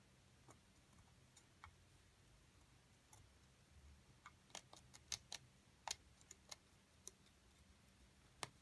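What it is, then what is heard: Plaster block being picked and scraped. A metal pick held in the left hand chips and scrapes a solid plaster dig block while the right hand, with long nails, braces it. About fifteen short, sharp, bright clicks and ticks come at irregular intervals and die away instantly, over a quiet, steady low hum.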